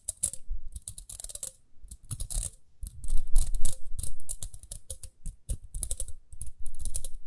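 Long nails flick and tap the plastic teeth on the toothed rim of a small, round pink plastic hair brush with dark bristles, held in both hands. The result is a quick, irregular run of crisp, bright clicks and ticks with soft low thumps. Each tap dies away almost at once, with a faint ringing tone near 500 Hz on some taps.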